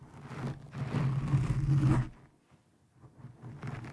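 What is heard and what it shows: Long painted nails of both hands scratch a black foam windscreen over a microphone. The result is a dense, low, rumbling scrape that builds over the first two seconds, drops to near silence, then returns as softer scratching.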